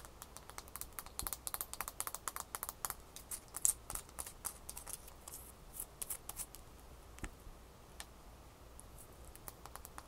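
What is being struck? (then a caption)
Ice cube. A small solid ice cube, first lying in the palm and then held in the fingers, is tapped and scratched with long fingernails. Quick, bright, dry clicks come in fast bursts over the first four seconds, then thin out into sparser taps and soft scratching. A quiet low hum sits underneath throughout.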